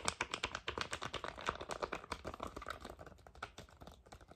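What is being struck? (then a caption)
Foil and plastic cosmetic pouch. Fingernails rapidly tap a flat, thin, flexible red foil-and-plastic sheet-mask sachet in a typing-like rhythm. A quick, uneven stream of dry, crisp clicks with a bright papery crinkle, each tap dying away almost at once.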